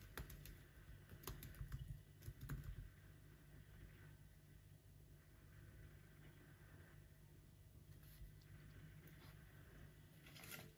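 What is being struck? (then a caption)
Laptop keyboard, plastic keys on metal body. Fingertips slowly type on the plastic keys of an aluminum laptop, the right hand sometimes resting on the trackpad. Soft, short key clicks come over a steady low hum, with a brief flurry of louder taps near the start and a last cluster near the end.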